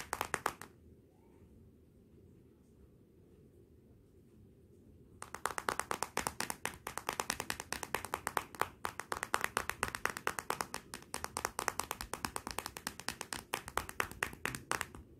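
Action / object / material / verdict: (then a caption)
tap / glass back panel of a smartphone / glass / none. Long nails tap and scratch across the glossy glass back panel of a solid Motorola smartphone lying face down. A brief burst of crisp, bright clicks opens the clip, followed by near silence for about four and a half seconds. Then a rapid, continuous stream of sharp taps runs to the end, with almost no ring after each one.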